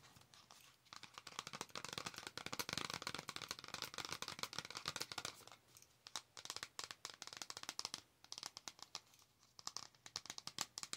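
A flat cardboard Star Wars eyeshadow palette, held in both hands, has its surface tapped and scratched with long acrylic nails. Dense, bright crinkling scratches mix with quick dry taps, easing into brief quieter stretches before building again. The sound is crisp and close with almost no low end.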